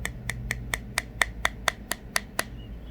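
A toucan's keratin beak is tapped 11 times in a steady rhythm, about every quarter second. Each tap is a short, dry click that dies away almost at once, with a hollow tone around 2 kHz over a low background hum.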